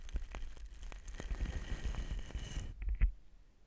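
A soft pink cosmetic brush, held in the fingertips, is brushed along the body of a long black slotted metal shotgun microphone, a hollow tube mounted on a stand. The strokes make a dense, low, rumbling scratch with sharp crackling brushes and a faint bright hiss. The hiss drops away near the end, leaving a few short strokes that fade out.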